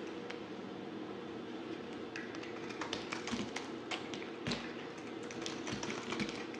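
A yellow utility knife blade scrapes and slices the surface of a palm-sized solid white bar soap with purple glitter swirls, held in the hand. Many short, crisp tapping and scraping clicks with bright edges sound over a steady low hum. Several louder strokes stand out.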